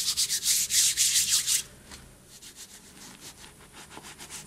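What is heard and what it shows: Hands squeeze, rub and sift handfuls of loose white cornstarch and gym chalk powder in a bowl, letting it fall through the fingers. Loud, bright, rhythmic crunching and rubbing pulses fill the first second and a half, then drop to a much quieter, soft rubbing and sifting that continues in gentle pulses to the end.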